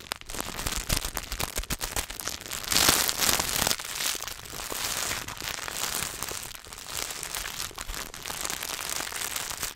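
A solid Hershey's milk chocolate bar in its paper and foil wrapper is tapped and scratched with fingertips and turned in the hands. Dense, bright crinkling and crackling taps run throughout, with a louder burst of rustling near the three-second mark.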